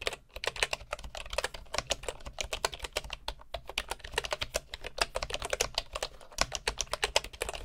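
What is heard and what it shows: Both hands type with their fingertips on a bamboo computer keyboard with wooden keycaps, producing a quick, continuous stream of dry, bright clicks. Each keystroke dies away almost instantly over a faint, steady low hum.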